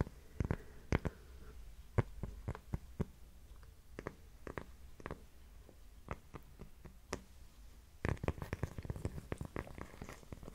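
A thin, flat, solid heart-shaped cork coaster is held in one hand and scratched and tapped with long nails. Quiet, dull taps and scratchy rustles come in scattered bursts, with a denser flurry of tapping near the end.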